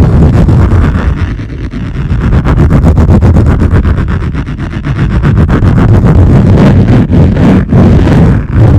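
Long nails rapidly scratch and tap across the top of a wood-grain laminate lap desk. The result is a loud, continuous, low-heavy scraping texture layered with quick, steady ticks of about four per second, with a few brief dips near the end.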